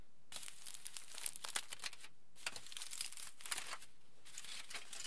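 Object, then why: Thin aluminium foil sheet. A large, thin, crumpled sheet of aluminium foil is rubbed and crinkled between the fingertips of both hands. Soft, bright, crackly crinkling comes in three bursts separated by brief pauses, with dense sharp ticks in the high range over a faint low rumble.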